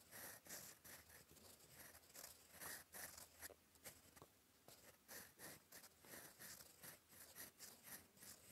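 A gold fountain pen nib writes in black ink on a flat, lined cream paper sheet, scratching across it in cursive strokes. The clip is a quiet series of short, bright, papery scratches with strong high-frequency hiss and a tone near 1.8 kHz. The strokes come in uneven bursts with brief pauses between them.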